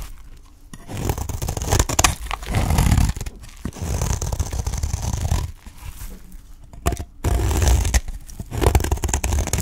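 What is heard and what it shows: A utility knife blade scrapes along the edge of a dry, solid green olive-oil soap bar held in the hand, peeling off shavings. Raspy, crunchy scraping strokes come in long bursts separated by brief pauses, with a dense, mostly low-heavy texture.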